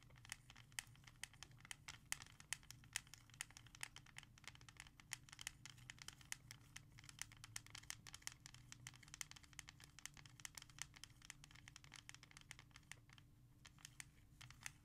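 A single hard plastic CD jewel case of a Paula Abdul album, small, flat and hollow with a disc inside, lies on a leather surface. Long red-painted nails tap and scratch quickly across its front cover. The result is a dense stream of sharp, bright clicks and scratchy rasps over a low steady hum.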